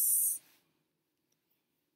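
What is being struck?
Nothing is struck.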